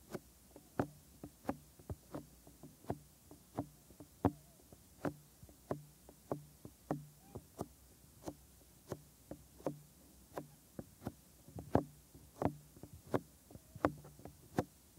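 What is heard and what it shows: Fingertips with short nails tap and rub around the white soft silicone ear molds and ear canals on both ears of a 3Dio binaural microphone. About 23 soft, dull knocks come at an uneven pace with very short decay, separated by a faint low rubbing murmur.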